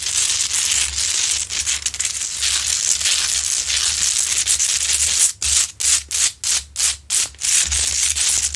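Long nails scratch the rough top and sides of a large, lit Himalayan salt lamp made of solid rock salt, producing a dense, bright, gritty rasping. The scratching runs almost continuously for about five seconds, then breaks into a quick series of short, separate strokes before becoming steady again.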